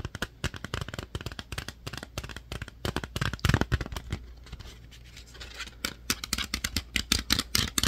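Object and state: Plastic DVD case.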